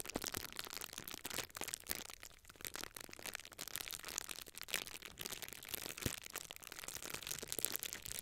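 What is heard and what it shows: A small clear plastic bubble wrap sheet is held in both hands while fingers twist, squeeze and crush the air-filled bubbles along its top edge. The result is a steady, bright, crinkly crackle broken by sharp, quick pops, with very little low-end body.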